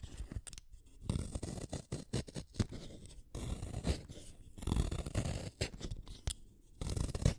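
A small, solid black-lead wooden pencil is shaved with a utility knife blade. Short, dry scraping strokes repeat in uneven bursts with brief pauses between them, each stroke a quick rasp with a dull, low-heavy body.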